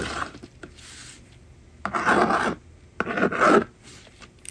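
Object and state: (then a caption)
Plastic magnetic drawing board being scratched. A yellow plastic stylus scratches across the honeycomb screen of a small, hollow blue and pink plastic magnetic drawing board on a table, writing a number. A faint opening scrape is followed by two louder, raspy strokes, with quiet pauses in between.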